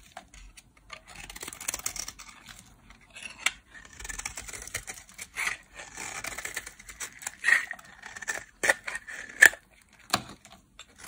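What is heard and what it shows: A solid, dry pink bar of soap held in the hand is shaved with a metal blade into flakes. Dry, crisp scraping and cutting strokes come in uneven bursts, with a bright, papery hiss and a faint squeaky tone near 1.8 kHz. Several sharper, louder cuts snap out toward the end.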